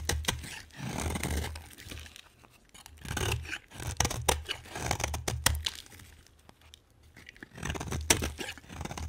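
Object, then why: Bar of soap. A utility knife blade shaves a solid green, hand-sized bar of soap into flakes, producing waves of crisp, crunchy scraping with sharp clicks and a soft low rumble. Each stroke swells and fades, leaving a rough, bright texture with quiet pauses between passes.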